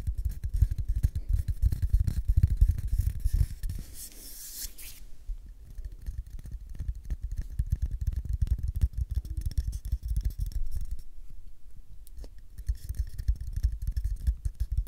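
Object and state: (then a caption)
Cardboard tube. Fingertips and nails scratch and tap the outer surface and rim of a small, empty, hollow brown cardboard tube (a paper roll core) held close to the mic. The result is a dense, irregular run of soft low thumps and dry scraping, with a brief brighter rasping scratch partway through. The sound then settles into quieter tapping before a short lull and a final stretch of louder taps.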